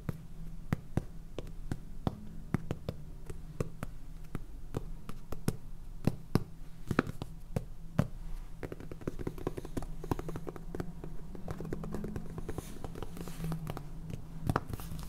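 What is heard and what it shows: Fingernails tap rapidly on a small clear plastic jar full of salt with a purple lid, making a dense stream of short, dry clicks. A steady low hum runs underneath the taps throughout.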